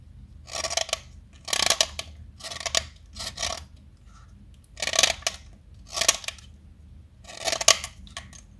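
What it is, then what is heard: Chalk stick carved with a knife. A small, solid light blue chalk stick held in the fingers is carved with a metal utility knife blade. The blade produces a series of short, bright scraping and cutting strokes with quiet gaps between them. The strokes are crisp and dry, with almost no low end.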